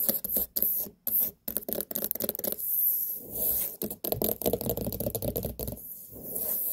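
Long nails tap and scratch the ribbed skin of a large, whole white pumpkin, a hollow gourd with a firm rind. Quick, irregular clusters of dull, hollow-sounding taps mix with dry, raspy scraping, with a low-mid body around 200–500 Hz and a short ring, broken by brief pauses.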